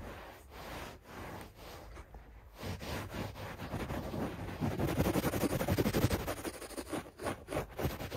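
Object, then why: Textile carpet pile. Fingers and nails scratch and rub quickly across the pile of a beige textile carpet on a solid floor, with the hands lifting between strokes. The rapid, uneven scraping is a dry, rustling texture weighted toward the low end. It starts soft and grows louder and denser midway.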